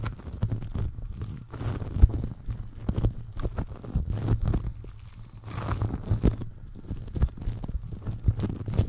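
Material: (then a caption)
Foam beads. Fingertips squeeze, press and rub yellow-orange foam clay made of tiny polystyrene beads, packed in a thick layer around a round microphone. Dense, crunchy, crinkly squishing comes in rapid, overlapping bursts, heavy and muffled with nearly all energy in the low range.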